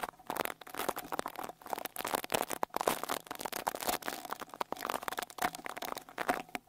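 A small white-bristle rat-tail brush with a wooden handle is brushed over the metal mesh grille of the right X-Y microphone capsule on a Tascam Portacapture X8 handheld recorder. The result is a steady run of close, scratchy, crackling brush strokes that are broad and bright, with a faint steady tone underneath around 680 Hz.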